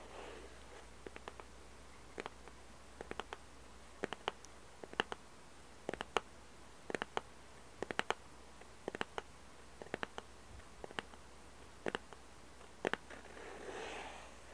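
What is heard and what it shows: Long red nails tap and scratch the white side panel of a small hollow cardboard jigsaw puzzle box held close to the mic. Many short, dry, clicky taps come in irregular bursts over a steady low hum, each dying away almost at once with a hollow papery tone. A softer, longer scratching rustle swells near the end.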